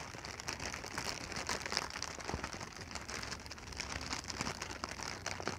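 A clear, hollow, air-filled plastic packing pillow is held in both hands and squeezed, crinkled and scratched with fingertips and long nails. The result is a steady bright crackling and rustling, with many quick tapping scratches at a fairly quiet level.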